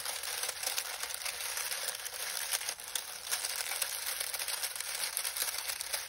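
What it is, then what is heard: Dry lemon balm leaves. Fingertips of both hands squeeze and rub a pile of dried lemon balm leaves, crumpling them. A steady, dense, dry crinkling and crackling rustle is heard throughout, bright and hissy with almost no low end.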